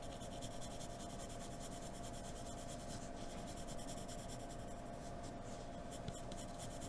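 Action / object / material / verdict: scrape / graphite pencil on drawing paper / paper / none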